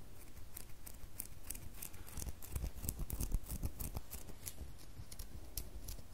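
Long fingernails scratch a solid red bar of soap held in the hand. Quick, irregular scratching strokes give bright, crisp clicks over a soft low rumble, at a steady moderate level.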